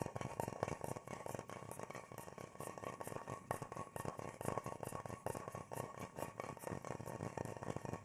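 A large, shallow, hollow bowl carved from natural teak-like wood, empty and held upright in both hands, is tapped and drummed on its outer surface with the fingertips. Quick, dense patter of soft, dull wooden knocks with a hollow tone around 600 Hz, each dying away almost at once. The taps run continuously, with no long gaps.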